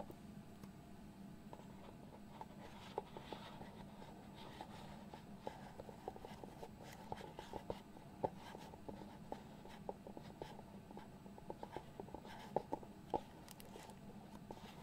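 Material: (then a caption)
Cardboard. Fingertips scratch and slide across the lid of a small, hollow white cardboard box. The sound is quiet, dry scratching and rubbing, broken by many short, sharp ticks that die away instantly, with most of the energy in the low-mid range.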